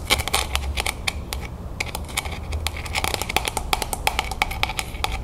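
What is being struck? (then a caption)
Stack of plastic cups. A hollow, empty stack of clear textured plastic cups is held in the hands and tapped and scratched with long painted nails. Quick, bright clicks come in a fast, uneven run over a low background rumble, each one short with a light plasticky ring around 770 Hz.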